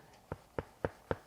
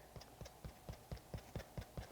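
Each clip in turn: First: solid unpadded shoe heel counter. Second: soft cushioned shoe midsole.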